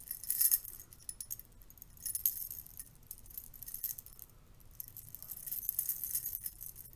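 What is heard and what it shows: A stack of silver metal curtain rings is held in one hand while the thumb and fingers of the other hand flick and riffle across the ring edges. Quiet, bright metallic clinks and jangles come in rapid clusters, with louder bursts near the start, around two seconds, and toward the end. Each clink dies away almost instantly.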